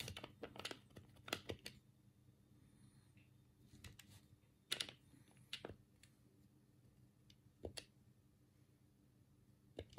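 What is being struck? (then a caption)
Plastic game controller. A black hollow plastic Sega control pad is held in both hands while the thumbs press and click its D-pad and buttons. Sharp, bright plastic clicks come in a quick flurry at first, then spread out into scattered single taps. Each click dies away almost instantly over a faint low hum.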